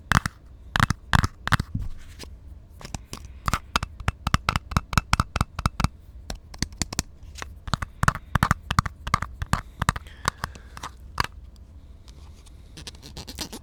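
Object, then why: Ridged plastic container. A plastic container with ridged parts is tapped and scratched slowly by hand, giving dozens of short, dry, sharp taps that stop instantly with no ring. Between the taps there is soft scratching over a low, steady hum. Near the end the taps thin out into quieter, faster scratching.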